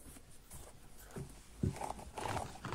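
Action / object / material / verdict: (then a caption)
scrape / small synthetic leather ankle boot with zipper and rubber sole / synthetic leather / none. Fingernails scratch and tap the upper of an empty small synthetic-leather kids' ankle boot with leatherette and sequin panels, a side zipper and a rubber sole. Quiet, low, dull scratching runs throughout, broken by soft, short taps, with the firmest tap landing just past the midpoint.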